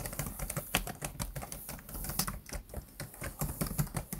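Fingertips type and tap quickly on the black plastic chiclet keys of a laptop keyboard. It produces a rapid, uneven run of short, dry clicks with a soft low thump under each press and a bright tick on top. The clicks are too dense to count one by one.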